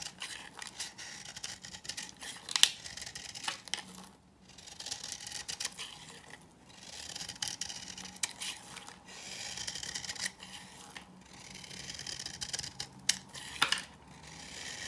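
A knife blade scrapes and cuts layers off a hand-held, solid, dry green bar of soap. The result is a steady, bright, gritty scraping and crinkling with frequent sharp little cracks. Short pauses fall between strokes, near 4 and 6.5 seconds.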